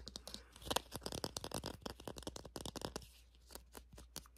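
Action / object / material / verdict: scrape / crocheted yarn toy / yarn / none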